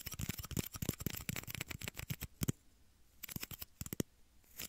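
Fingernails tap two small, hollow, clear plastic shot glasses held at the ears of a microphone, producing quick, dry clicks with a hollow low knock and a bright top. A dense run of taps gives way to a short quiet pause around the three-second mark, then scattered taps resume. Each tap cuts off almost instantly, with no ringing.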